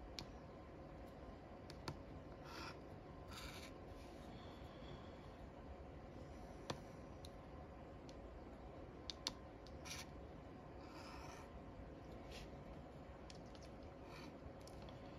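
A wooden stick taps and scratches small squares of coating in the crossword grid of a flat cardboard paper lottery scratch-off ticket. Short, sparse scraping strokes and light sharp ticks sit over a quiet, steady low background hum, with bright, brief rasps.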